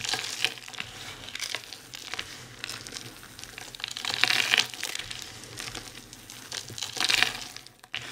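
Hands quickly press, crush and rub a pile of fine, dry soap shavings and crumbs. The result is a steady, bright, crinkly crunching with almost no low end, swelling into louder bursts near the start, around the middle and close to the end.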